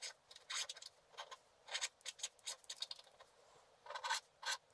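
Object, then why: Coated scratch art paper scraped with a wooden stylus. A black-coated scratch art card lies flat and is scratched and rubbed with a wooden stylus near its bottom edge. Short, dry, bright scratching bursts come in irregular strokes, with no low end.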